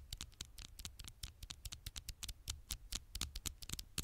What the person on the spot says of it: 7:08 - 9:44 tiny taps on the screen